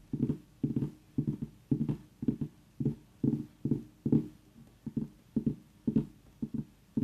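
Fingernails of both hands tap rapidly on the rind around the stem of a tiny whole orange mini pumpkin. The result is a steady run of short, dull, hollow knocks centered low around 220 Hz that die away almost instantly, with no bright high content.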